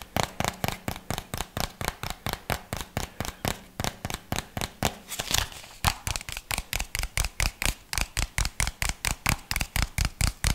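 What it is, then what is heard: Hollow plastic jar. Fingernails tap and scratch around the body and lid of a small, hollow white plastic jar with a red label. About 44 quick, dry, clicky taps come in a rapid, uneven rhythm, with a brief bright scratching smear around the middle. Each tap dies away almost instantly.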